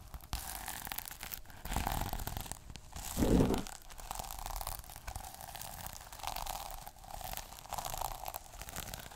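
Fingers quickly scratch and rub the plastic sequins on a small sequin notebook cover, making a steady, dry, crinkly rustle with rapid clicking texture. The scratching swells into louder, fuller bursts around two seconds and again just after three seconds, then settles back into continuous rubbing to the end.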